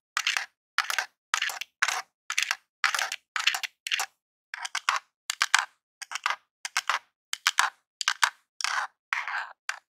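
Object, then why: Plastic game controller, buttons and d-pad. A long jeweled acrylic nail taps and scratches the d-pad and buttons of a grey hollow plastic Super Nintendo controller. Short bursts of quick, dry clicks and scrapes repeat with brief silences between them. The sound is bright and hollow, with no low-end thump.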